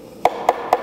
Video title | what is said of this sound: 항공정비를 이런걸로 한다고??🔧🔨🔩 공구A to Z - 7편 | 이렇게 둔탁하게 우린 다 그러면 아 내부의 빈공간이 있다 라고 생각하시면 됩니다